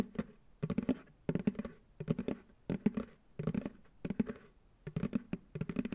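Fingertips and nails tap the bottom of an empty white plastic ice cream pail turned upside down on a lap. The taps come in quick bursts with short pauses between them. Each one is a dry, hollow, low-pitched knock that dies away almost at once.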